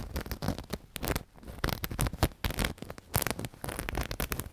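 A black knitted cushion with a sequin appliqué is squeezed and scratched with fingertips and long nails. The result is a close, continuous run of dry scratching and rustling bursts with a soft, low muffled body and crackly bright edges that rise and fall in loudness.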